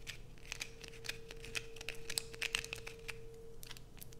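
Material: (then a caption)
Soap. A solid blue bar of soap, held in both hands, is aggressively scratched with long nails, shaving off a pile of fine shavings. Quick, crisp scraping and clicking bursts come in a dense, irregular stream over a steady low hum and a faint constant tone.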